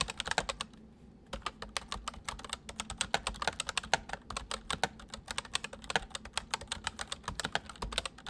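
Both hands type quickly on a full-size white plastic mechanical keyboard with white keycaps resting on a wooden desk, fingertips pressing and tapping the keys. A rapid, steady stream of short, bright clicks and clacks follows, each dying away almost instantly, with one brief pause near the start.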